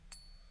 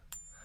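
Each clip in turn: First: genuine silver bullion coin. Second: copper-nickel coin, not silver.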